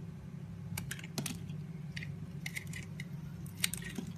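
A utility knife blade shaves the blue layer off a solid, palm-sized blue bar of soap with a flower pattern, held in the hand, exposing white soap underneath. Short, crisp, bright scraping clicks come in small clusters over a steady low hum, with one sharper snap near the end.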